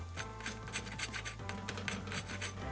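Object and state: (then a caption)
Crispy baked potato wedges. Oven-baked russet potato wedges, finished after baking at 425 degrees and flipping halfway, are scraped and moved in the pan. A series of dry, crisp scraping and rasping sounds rises over a low steady hum. The wedges sound super crispy on the outside.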